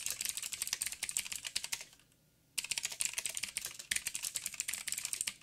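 Fingertips of both hands type on a backlit mechanical keyboard with black plastic keycaps on a silver frame and a hollow housing. Rapid, bright, clicky taps with almost no low end run in dense bursts, stop for about half a second of near silence, then resume at the same quick pace to the end.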